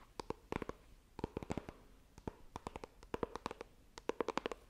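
Long nails tap and scratch the lid of a small, hollow white iPhone retail box made of coated cardboard, held horizontally. About 26 quick, dry taps come in irregular clusters, each with a hollow, boxy knock around 450 Hz that dies almost instantly. Faint scratching fills the quiet gaps between them.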